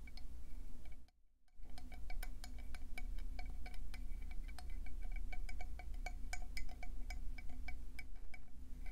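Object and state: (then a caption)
Conch shell tapped. Fast tapping on a conch seashell produces a dense stream of short, bright, glassy clicks that ring briefly, over a steady low hum. The tapping drops out for a moment near the start, then continues without pause to the end.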